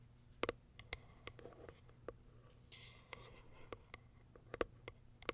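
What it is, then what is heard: Hollow cardboard box. Long white acrylic nails tap and scratch the top of a small, closed, hollow white Kiara Sky cardboard product box. About sixteen quiet, sharp clicks with a hollow papery ring stand apart, with a soft rasping scratch midway through.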